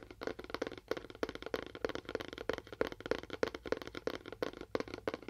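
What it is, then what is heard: Cardboard box (material named). A fingernail taps rapidly on a cardboard box with a faux wood finish, making a quick, irregular run of short, dry clicks. Each tap dies away almost at once and carries a faint hollow tone near 465 Hz.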